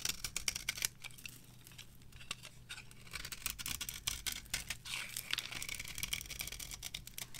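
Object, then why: Bar of soap scraped with a metal knife. A metal knife scrapes shavings off a solid, varnished, dry yellow soap bar with purple edges, held on the palm. It makes a rapid run of short, dry, bright scraping and crackling strokes with no ring, over a faint low hum.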